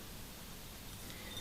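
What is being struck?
Nothing is struck.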